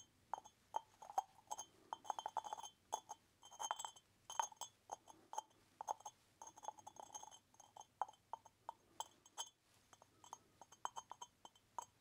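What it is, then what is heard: Terracotta lidded pot. Fingertips rapidly tap a small, hollow, unglazed orange terracotta pot with a lid and side holes, rattling the clay lid against its rim. The result is a quick, irregular stream of short, dry clinks, pitched around 900 Hz with bright overtones. Each clink dies away almost instantly, with brief pauses between bursts.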